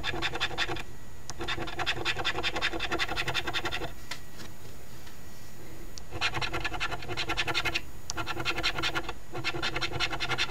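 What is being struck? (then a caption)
Coin scraping latex coating on a cardstock lottery ticket. A coin held in the fingertips scratches the remaining latex areas off a flat cardstock Ontario Lottery OLG $5 Very Merry Multiplier instant scratch ticket, #2465. Rapid, bright rasping strokes come in bursts, broken by short pauses and a longer quiet gap in the middle.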